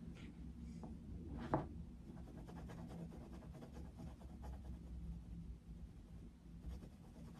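A dark wooden coloured pencil shades a paper colouring book page showing Mickey Mouse, scratching and rubbing the paper steadily in a quiet, low-heavy texture. One sharper scratch stands out near the start before the soft, even rubbing continues to the end.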